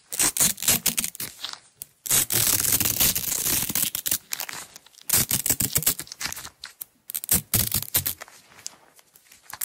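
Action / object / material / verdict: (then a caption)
scrape / nylon hook-and-loop tape roll / nylon / none. Long nails peel a strip of blue nylon hook-and-loop tape away from its roll, producing bright, crackling rips. Short tearing bursts come in an uneven rhythm, broken by one longer sustained rip and brief silences.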